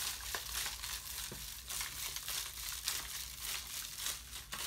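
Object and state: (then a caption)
Empty thin plastic water bottle, crinkling. An empty, thin, ribbed plastic water bottle is held in one hand and squeezed, producing steady, bright crinkling and crackling. Sharper snaps rise out of the continuous texture at uneven intervals, and the sound is mostly high with little low end.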